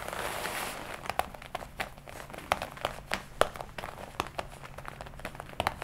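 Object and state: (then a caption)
Leather jacket. Fingertips and long nails scratch and tap the chest panels of a worn leather jacket, black on the left side and red on the right. A soft, breathy rustle of scratching opens the clip, then gives way to an uneven run of short, dry taps and crinkles with a bright edge and no ring, over a faint low hum.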